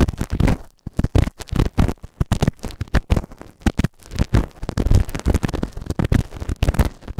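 A white plastic spatula tool scrapes and scratches inside the ear canal of a solid grey moulded silicone ear-shaped binaural microphone on a round base. Dense, close, low-heavy scratching and rubbing bursts come in quick irregular strokes with brief gaps.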